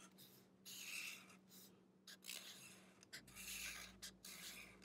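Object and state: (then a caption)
Marker coloring on paper. The felt tip of a black-bodied marker rubs along the page of an open paper sketchbook lying flat, in short coloring strokes. Each stroke makes a bright, scratchy rasp that swells and fades in quick bursts with brief pauses between them. A faint, steady low hum runs underneath.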